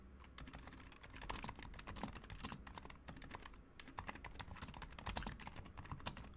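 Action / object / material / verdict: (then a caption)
tap / plastic mechanical keyboard / plastic / none. Both hands type continuously with their fingertips on a Razer Huntsman Mini, a compact 60% mechanical keyboard with a white plastic case, white plastic keycaps, lubed silent switches and a pink/red backlight. The result is a quiet, steady stream of soft, muted, rapid clicks with brief bright ticks over a low, thuddy base. There are short pauses between bursts of keystrokes.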